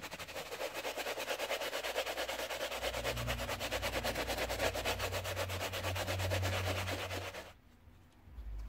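A wooden-handled brush with white bristles and soap foam scrubs the teal and grey knit fabric upper of an Adidas Ultraboost, held by a gloved hand inside the shoe. Rapid, steady back-and-forth strokes make a bright, wet rasping hiss over a low rumble. The brushing stops abruptly near the end, leaving quiet low hum.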